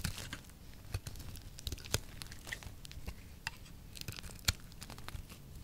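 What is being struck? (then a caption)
Oval soap bar. A solid oval peach-colored soap bar held in the palm is shaved into thin curls with a small blade. The scraping gives quiet, dry crinkling and tearing scrapes, broken by sharp bright clicks and crackles that die away almost at once over a low rumble.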